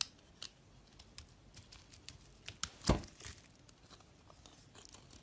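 A box-cutter blade scrapes and shaves the surface of a solid green soap bar held in the hand. Short, dry, crackling scrapes reach up into the high range in a quiet, scattered series, with one louder, sharper crack near the middle.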